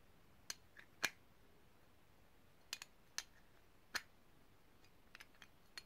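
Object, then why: Small brass cylindrical grinder. Long painted nails tap and click around the ridged metal sides of a small, hollow, multi-part polished brass cylindrical grinder held in both hands. Sharp, bright metallic clicks arrive at irregular intervals, each dying away almost instantly over a quiet background.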